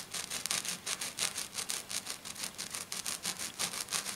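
Short, dark-painted fingernails on one hand scratch fast across a flat silver glitter sheet lying on a table. The result is a quick run of bright, hissy scratching strokes, about three per second, with almost no low end.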